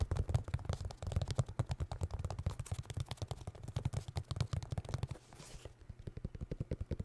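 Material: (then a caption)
Cardboard. Fingertips rapidly tap a vinyl record in its cardboard sleeve, producing dozens of quick, dull, low thuds with almost no ring. Around the five-second mark there is a brief soft brushing sound with a faint bright hiss, then the tapping resumes more quietly.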